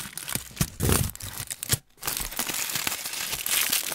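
A thin, crumpled aluminium foil sheet, formed into a hollow, loose wad, is crinkled and rubbed with fingertips, partly pressed over the mic grille and partly held in hand. Dense, bright crackling and crinkling runs throughout, with occasional low thumps where the foil presses against the grille. There is a brief near-silent pause just before the two-second mark, after which the crinkling resumes.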